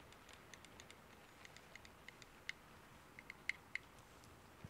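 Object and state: Varnished wooden pen box.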